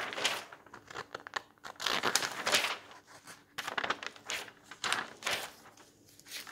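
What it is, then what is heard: Old paper magazine pages rustling. Bare hands wearing rings turn, lift and smooth the thin pages of a large bound volume of old yellowed paper magazines lying open on a table. The result is a series of bright, crisp paper rustles and crinkles in uneven bursts, with short quiet gaps between them.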